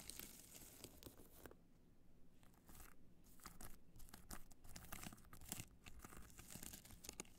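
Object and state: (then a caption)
Rhinestone-covered hard-shell clutch. Long nails scratch the face of a hollow black hard-shell clutch covered in multicolor rhinestones, held in both hands. The quiet, irregular scratching gives bright, crackly, tearing-like rasps over a low rumble, with a softer lull near the start before the scratching picks back up.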